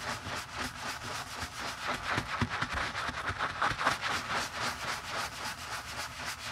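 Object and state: Leather shoe insole being scrubbed.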